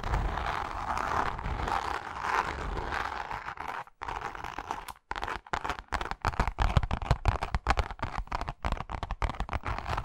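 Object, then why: Leather wallet. Long nails scratch across a flat, palm-sized pink pebble-grain leather wallet with a zipper, making a steady, dry rasping for about four seconds. After a brief pause, the nails switch to quick, irregular taps on the wallet's surface, giving soft, dull clicks with a low thump beneath them until the end.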